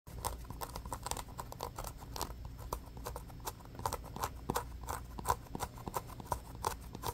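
A small orange solid polyurethane foam stress ball with a pebbled basketball texture, held in the hands, is scratched quickly with the fingernails. The result is a rapid, steady run of short, dry scratching ticks centered in the midrange around 1 kHz, over a soft low rumble, with each scrape dying away almost instantly.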